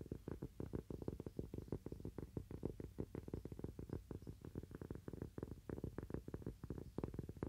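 A thin, solid cork coaster held in both hands is tapped quickly and continuously with fingernails. The taps are soft, dull and muffled, with mostly low-frequency thuds and almost no bright high end. Each tap dies away almost at once.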